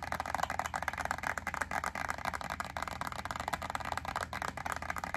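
A small clear plastic clamshell pack of wax melt cubes, yellow label side facing out, is tapped and scratched with long acrylic nails. Quick, dense clicks and crackly scratching sit mostly in the mid range around 1–2 kHz, with a faint low hum underneath.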